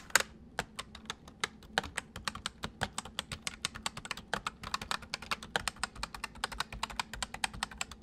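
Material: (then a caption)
Plastic. Fingertips of both hands type on a white full-size plastic mechanical computer keyboard. A steady, rapid run of sharp, bright key clicks sounds over about eight seconds, each one dry and quickly gone. A faint low hum sits underneath.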